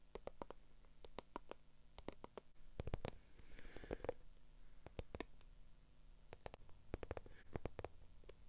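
Long acrylic nails tap and scratch the textured side of a small black, glossy, croc-embossed faux leather handbag. Quick, dry clicks arrive in uneven bursts and pairs, with softer scraping in between, over a quiet low rumble.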